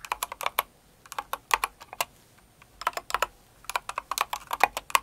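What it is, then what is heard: Plastic mechanical keyboard. Both hands with long acrylic nails type on a Cinnamoroll kawaii mechanical keyboard with plastic keycaps, producing about 26 sharp, clacky keystrokes in three quick bursts separated by short pauses. Each tap is crisp and bright with a mid-range body, and it dies away almost instantly.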